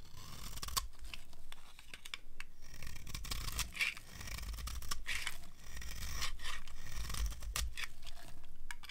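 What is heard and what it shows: A metal craft knife blade scrapes along the edge of a solid rectangular bar of dry white soap held in one hand, shaving off crunchy curls that pile up beside it. The sound is a steady run of dense, dry crackling scrapes with sharp, bright clicks over a low rumble, continuing throughout.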